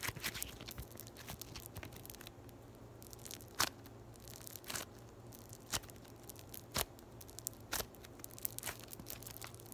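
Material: Polystyrene foam.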